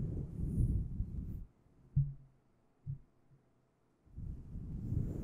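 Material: Faux fur.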